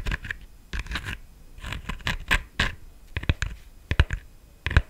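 Long nails tap and scratch the stem and top of a black, glittered, hollow plastic decorative pumpkin. Dry, scratchy taps and scrapes come in quick irregular bursts, with a low hollow thump under a bright rasp. Each one stops at once, with no ringing.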